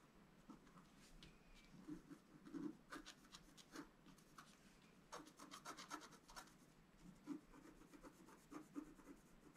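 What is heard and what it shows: A wooden stylus rubs and scratches the coating off a thin, solid, flat black-coated scratch-art paper card lying on a table. The sound is a quiet, continuous dry rasping with bursts of bright, scratchy strokes over a soft low-mid body.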